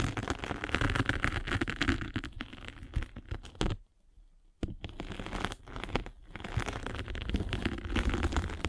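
A derma roller with metal needles is rolled over a hand-held foam sanding sponge with a gray abrasive face and blue foam. It makes a dense, scratchy crackling with a low rumbling undertone, broken by a brief near-silent pause around the four-second mark before the rolling resumes.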